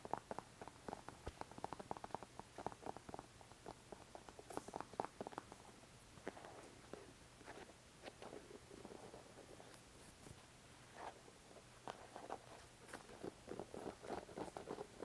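Fingertips tap a small, hollow white plastic glue squeeze bottle with an orange nozzle cap, held in the hand in front of the mic. The result is a quiet, steady stream of quick, light, hollow taps and clicks centered in the midrange, each dying away almost instantly, over a faint low hum.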